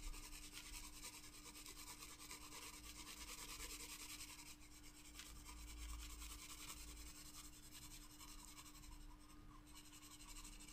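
A wooden graphite pencil scratches and shades across a loose paper sheet resting on a flat spiral paper sketchbook in repeated strokes. The result is a continuous dry, raspy rubbing with bright high hiss, a faint steady low hum, and a tonal line in the low mids underneath.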